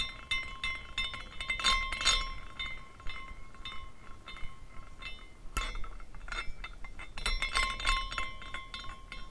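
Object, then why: Small glass carousel with hanging glass horses. A small glass carousel figurine is spun by hand, and its hanging glass horses strike one another in a busy, irregular stream of bright, glassy clinks. The clinks swell and thin out as it turns, with a faint sustained ring near 1 kHz beneath them and a sharper knock partway through.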